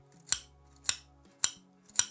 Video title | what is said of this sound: [Review] Tokyo Marui AKM GBBR (TM AK mit Gas BlowBack) 6mm Airsoft/Softair (DE) | direttamente sulla lastra di zinco, quindi vedete che dietro c'è un grande disco di zinco